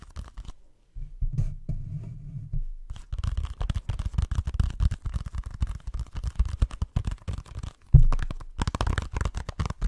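Fingertips and nails scratch and tap the surface of a small, flat, hollow plastic video game case with an orange printed cover, held close to the microphone. The result is a dense run of soft, low, dull scratching and tapping with a brief quiet gap near the start. A sharper, louder tap lands near the eight-second mark before the scratching resumes.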